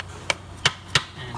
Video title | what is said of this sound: 2009 - 2014 Acura TSX driveshaft and seal replacement - DIY | the solid sound of the socket hitting the transmission case, you know that the seal is bottom out